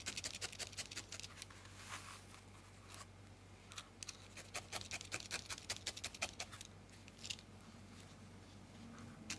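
A thin steel felting needle repeatedly stabs a small, solid ball of grey-white felted wool held between fingertips, heard close-up. Each poke makes a quick, dry, bright crunching scratch, coming in rapid, uneven bursts over a faint steady low hum.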